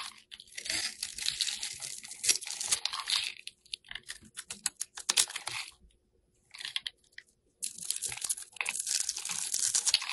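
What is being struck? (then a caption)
Soap bar. A utility knife blade scrapes over the scored surface of a solid oval blue bar soap held in the hand, crumbling it into granules and shavings. Dense, bright, crisp crunching and scratching comes in bursts, with short pauses near the six and seven second marks before the scraping resumes steadily to the end.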